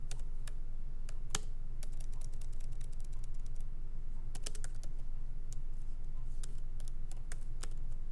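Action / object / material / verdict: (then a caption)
tap / laptop keyboard with plastic keys in an aluminium body / plastic / none. Both hands type lightly with their fingertips on the plastic keycaps of a MacBook Pro laptop with an aluminum body, resting on a wooden desk. Quick, irregular, bright key clicks with very short decay sit over a steady low hum throughout.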